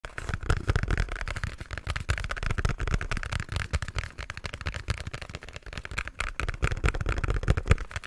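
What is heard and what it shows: A small, hollow pink printed cardboard product box is held in both hands close to the mic while fingertips and nails tap and scratch its top and sides. A rapid, dense stream of short, hollow, boomy taps with strong low-end thump is heard, mixed with scratchy rustling.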